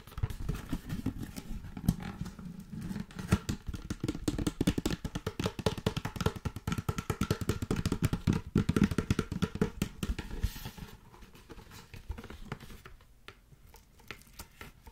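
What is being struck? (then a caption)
Cardboard box with a plastic wrap roll inside. A long yellow Glad ClingWrap cardboard box, hollow with a roll inside, is held horizontally and tapped and scratched with long nails. The result is a dense run of quick, dull, low taps with brief scratchy texture. The activity eases off toward the end, leaving sparse light clicks.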